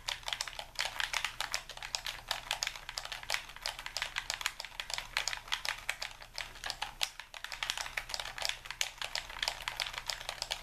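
A white, hand-sized, hollow plastic Xbox-style game controller is held in both hands while thumbs and fingers rapidly tap its buttons and sticks. The result is a dense, continuous stream of short, bright, clicky presses that stop almost instantly, over a faint steady low hum.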